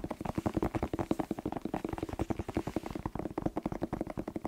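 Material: Vegetable skin.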